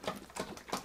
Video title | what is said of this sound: Filling Large Voids With Epoxy and Spilling It All Over The Floor | it's so thin I mean it's almost watery you can hear it sloshing around inside there